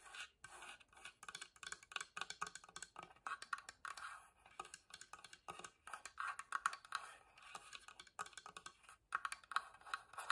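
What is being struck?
Small wooden box side panel.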